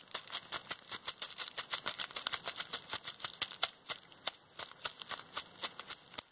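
A small folded bundle of clear plastic bubble wrap with hollow air bubbles is squeezed and popped between fingers with long red nails. A rapid series of sharp, bright pops, each dying away almost instantly, rises over a steady, hissy crinkling of the plastic. The sound is thin and high with no low end.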